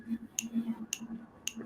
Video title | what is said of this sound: PLA isn't for Drones - FPV YOUR WORLD TUESDAYS - how to successfully 3d print for RC and Drones. | No ring. Sounds like plastic.